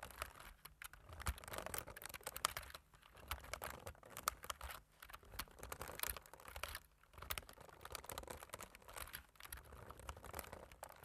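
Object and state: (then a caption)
Plastic computer keyboard. Fingertips type and tap on a slim plastic computer keyboard with black plastic keys, producing a steady stream of quick, dry clicks that stop dead without ringing. The tapping comes in dense bursts separated by brief pauses.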